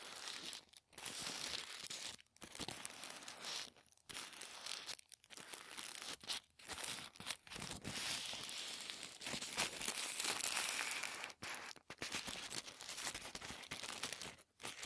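Fingertips bend and crinkle a folded sheet of thin white tissue paper. The result is a dense, bright, crackly rustle, almost all in the high range with very little low end, broken by several brief silent pauses over the clip.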